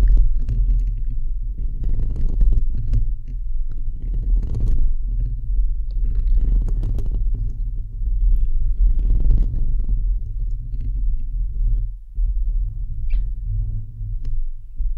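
Fingertips and nails of both hands scratch and tap the perforated metal mesh grille of a bare, hollow, fist-sized microphone head. The result is a steady, deep, throbbing rumble centered near 94 Hz, with dense scratchy crackles and brief brighter taps that flare up in bursts across the clip.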